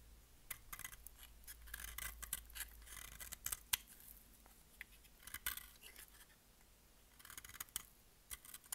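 A solid, bright-green embossed bar of dry soap is held in the hand and cut and scraped with a utility-knife blade, shedding flakes. Dry, crisp scraping and cutting sounds come in quick, uneven bursts with sharp, bright clicks and rasps. A faint low hum sits underneath throughout.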